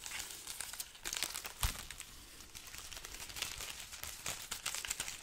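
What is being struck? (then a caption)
String of dried red chili peppers. A strand of dry, hollow red chili peppers on a garland is scratched and crinkled with long nails and fingertips. The result is a steady stream of bright, papery crackles and rustles, with a few sharper crinkles and faint low thumps mixed in.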